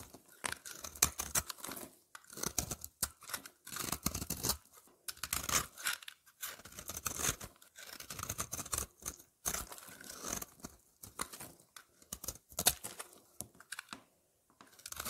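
A solid lavender soap bar, held in hand, is shaved with a utility knife blade, and the flakes pile up. Repeated bright, crunchy scraping strokes come in quick bursts separated by brief pauses.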